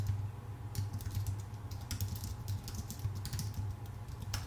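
Fingertips of both hands type steadily on a full-size white Apple Magic Keyboard with a numpad, thin aluminium base and plastic keycaps, resting on a dark desk. Quick, light clicking taps with bright edges run continuously over a steady low hum near 98 Hz.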